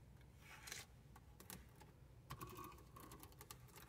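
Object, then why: Plastic car stereo faceplate with buttons. Long painted nails and fingertips tap and scratch across the hard plastic faceplate and buttons of a car radio fixed in the dashboard. Quick, clicky taps with bright, scratchy edges come over a low, steady rumble, each sound dying away almost at once.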